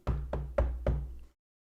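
Knuckles knock four times on a real wooden desk, each giving a low, dull thud with a brief resonance and little high end. The desk sounds solid and natural, a nice knock.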